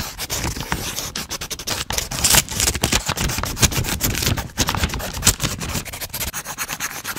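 A wooden pencil tip is rubbed and scribbled rapidly across a page of a spiral-bound paper notebook held upright in front of the microphone. It makes a continuous, scratchy rubbing sound with bright, broadband hiss and quick uneven strokes.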